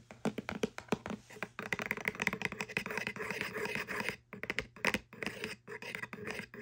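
Long French-manicured nails scratch along the side and edge of a small, hollow corrugated kraft cardboard box. A quick, uneven run of dry, papery scratches and light taps comes through with a bright, rasping edge. Each stroke dies away almost at once, with short pauses between bursts.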